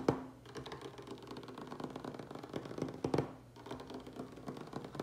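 Fingertips and short nails of both hands tap rapidly on a large, solid wooden tabletop, making a dense stream of quick, dull clicks and thuds that die away almost at once. The tapping swells into a louder flurry just after three seconds, dips briefly, then carries on at a steady pace.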